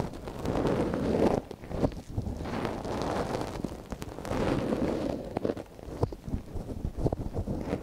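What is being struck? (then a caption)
Wooden ear pick in a silicone microphone ear. A thin wooden ear pick, held in a gloved hand, scratches inside the ear canal of a small, hollow white silicone dummy ear on a binaural microphone. The sound is a close, muffled rustling and scraping, dense and low-mid in tone with almost nothing bright. Two longer scraping passes are broken up by sharp little clicks and taps.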